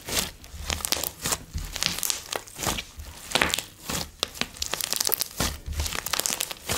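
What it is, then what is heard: Foam-bead slime. Blue slime with coloured foam beads is spread on a bamboo board, then gathered and squeezed in both hands while fingertips knead and press it. The result is a rapid, uneven series of bright, crunchy crackles and wet squishes that die away almost instantly.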